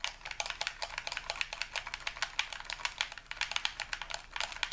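The buttons and triggers of a hand-sized, hollow white plastic game controller, held in both hands above a wooden table, are rapidly clicked and pressed with fingertips and thumbs. The result is a dense, steady stream of sharp, bright plastic clicks centered around 3 kHz, each dying away almost instantly, with almost no low end.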